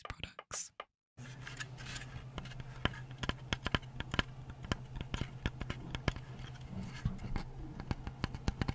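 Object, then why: Wooden lamp panel. Fingernails scratch the recycled-wood body of a decorative Hi Park craft light panel, making dense, dry scraping with many short sharp ticks over a steady low hum. A few brief soft sounds come first, then about a second of silence before the continuous scratching begins.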